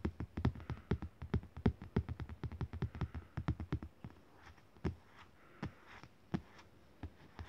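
Fingertips tap a thin, glossy printed art postcard lying flat on fabric, making quick, dull, low thuds. The taps come fast and steady for about four seconds, then thin out into scattered soft taps as the hand lifts away.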